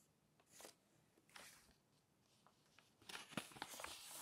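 Long-nailed fingers pinch and flip the thin coated pages of an open glossy paper magazine. Soft, bright papery swishes come at about 0.6 and 1.4 seconds, followed by a denser run of crisp crinkles and light taps from about 3 seconds to the end. The sound is quiet and close, mostly high-pitched with little low end.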